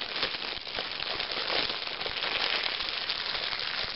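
Thin clear plastic shrink wrap is crumpled into a ball and rubbed between fingers with red-painted nails, while a magazine lies untouched below. It makes a dense, steady crinkling and crackling that is bright and high with almost no low end, and the many sharp crackles run together throughout.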